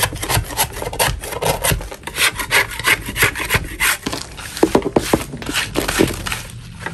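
A large solid chalk block is scraped with a metal putty knife held in a purple-gloved hand. Rough, gritty scraping strokes repeat through the clip in bright, hissy bursts, with a few sharper clicking scrapes toward the end.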